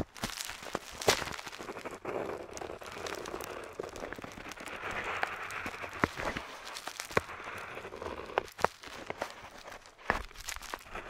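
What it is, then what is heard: Paper map sheet scratched with a pen nib. A metal dip pen nib, held in the fingertips, scratches over the surface of a flat parchment-style paper map on a table while tracing island outlines. A steady, bright scratching texture continues throughout, broken by sharp little ticks and crackles as the nib catches and lifts.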